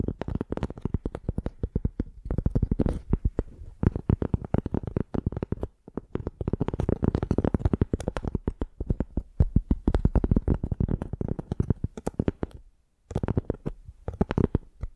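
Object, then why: Piece of tree bark. Long painted nails scratch along the ridges of a flat, rectangular piece of tan tree bark held in both hands. The result is a dense, rapid run of short, dry scratching clicks with a heavy low-end thump, broken by a few brief pauses.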